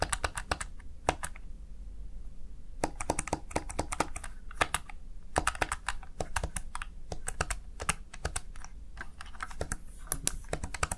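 Fingertips rapidly press the keys of a Razer Tartarus Chroma plastic gaming keypad, producing a steady stream of short, dry clicks with bright, crisp tops. Each click dies away almost instantly over a faint low hum, with irregular bursts and brief pauses between runs of keystrokes.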